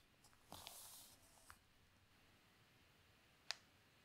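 Fingers with long nails lift a page of newsprint newspaper lying on a table and turn it, giving a soft, bright crinkling rustle that lasts about half a second. A faint tick follows, then a single sharp, high click near the end, all against a quiet, hissy background.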